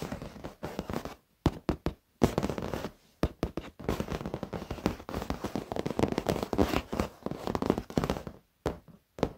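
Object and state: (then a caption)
Leather office chair. Fingertips and nails of both hands tap and scratch across the black padded leather surface of an office chair. Dense bursts of soft, crackly tapping and scratching alternate with short silent pauses, staying mostly low and dull with little bright content.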